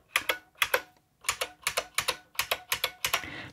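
A full-size beige IBM Model M mechanical keyboard with plastic keycaps and a hollow plastic case is typed on quickly across the letter keys with the fingertips of both hands. Sixteen sharp, bright plastic clacks land in eight quick pairs, with a short pause after the first few. Each clack cuts off almost instantly, with little low end and a faint hiss at the close.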